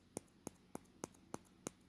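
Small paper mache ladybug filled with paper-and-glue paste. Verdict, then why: Solid. A small paper mache ladybug, filled with a paste of broken-down paper and glue instead of newspaper, is tapped six times at an even pace. Each tap gives a short, dry, hard click with almost no ring, showing the piece is solid and hard.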